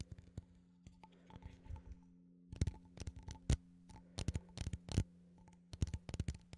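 A small cylindrical metal coffee tin is held in both hands while fingertips and nails tap and scratch its lid. Short, dry, uneven taps and bursts of faint scratching come in clusters over a steady low hum, with most of the sound sitting in the low range and almost no ring after each hit.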